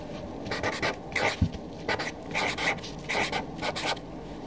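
A Sharpie felt-tip marker writes a column of names on a flat white paper sheet resting on a desk, its tip scratching across the paper. Short bursts of dry, bright scratching strokes come in quick clusters, with one soft low thump partway through and quiet pauses between words.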